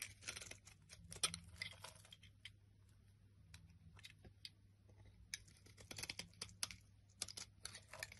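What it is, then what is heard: Bar of soap being carved. A black blade carves and scrapes chunky flakes off the top of a solid olive-green bar soap held in the hand. Quiet, bright, crisp scraping and crackling clicks come in irregular bursts over a steady low hum.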